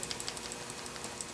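A Ruger revolver chambered in .454 Casull is handled, and its loose steel transfer bar safety rattles inside it. Quick, light, dry clicks and ticks repeat through the clip, thin and high-pitched with almost no low end. The loose transfer bar is an annoying rattle rather than a tight, silent action.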